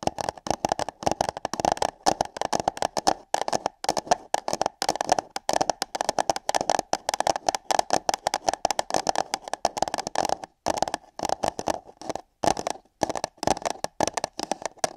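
Long nails tap, scratch and grip hollow paper cups placed over microphone ears, making a dense run of quick, dry clicks and scrapes. The sound is hollow and cuppy with a mid-range resonance, plus bright rasping edges and almost no ring after each touch.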